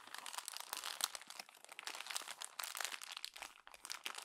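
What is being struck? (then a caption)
Glossy paper magazine. A fist squeezes and crumples the pages of a glossy paper magazine near the spine. It produces dense, bright crinkling and crackling that rises and falls in quick bursts, with almost no low end.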